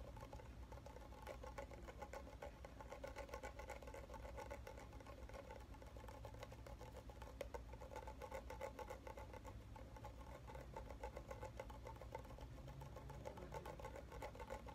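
The bottom of a red plastic shampoo bottle is tapped and scratched quickly with fingernails. The result is a quiet, rapid, irregular patter of tiny clicks and scratches that runs throughout, over a steady low hum.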